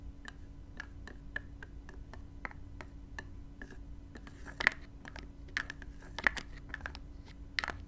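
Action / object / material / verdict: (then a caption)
tap / small spray bottle with plastic cap / plastic / none. Long nails and fingertips tap and scratch the black plastic cap of a small clear spray bottle, likely plastic though possibly glass, with a gold metal neck and partly filled with gold-glittery liquid, rotating it as it lies on blue velvet. Short, dry, bright clicks and scrapes come at an irregular pace, each dying away almost instantly. A steady low hum runs underneath.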